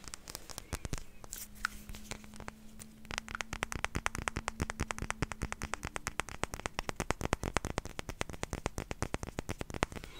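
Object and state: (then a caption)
Glass perfume bottle with metal cap. A small rectangular clear glass perfume bottle with a white label and a silver metal cap is tapped rapidly with long nails, producing a steady stream of sharp, dry clicks that die away almost instantly. A faint low hum runs underneath through the first half.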